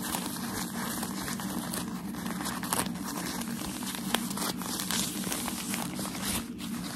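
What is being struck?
Tissue packaging paper.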